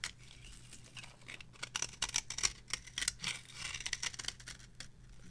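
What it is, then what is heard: Dry bar of soap scraped with a blade. A metal blade scrapes across the surface of a yellow, varnished, dry bar of soap held on a palm. The result is a run of irregular, crisp, bright scraping strokes with short dry flicks, over a faint steady low hum.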